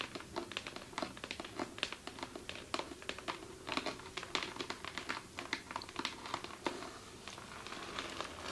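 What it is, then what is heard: Glitter fabric clutch bag tapped and scratched with nails. Long chrome acrylic nails on both hands tap and scratch across the flat silver glitter-covered surface of a fabric clutch bag with a hard, likely hollow body underneath. The result is a rapid, uneven stream of crisp, bright clicks that die away almost instantly, over a faint scratchy rustle of the textured glitter.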